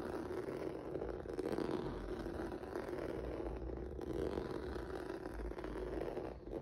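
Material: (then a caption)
Rubber. Fingertips and nails scratch across a flat black rubber or vinyl mat with a textured noodle surface. The result is a steady, dense, crackly scratching that runs without a break, centered in the mid range with a faint low rumble underneath.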